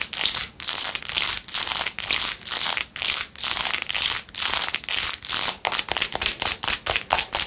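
Long acrylic nails scratch and tap the blue acrylic rhinestones on a handheld clear/white plastic phone case with a metal ring holder. The result is a fast run of bright, crackly scratching bursts separated by brief pauses, almost all high-end hiss with no low rumble.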